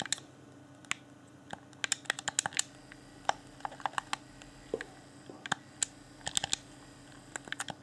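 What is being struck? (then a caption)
Plastic game controller buttons. Thumbs click the buttons and sticks of a hand-sized, hollow, transparent plastic Xbox One Afterglow game controller held in both hands. The result is an irregular stream of quick, dry, bright plastic clicks and taps that die away almost instantly. A faint, steady low hum sits underneath.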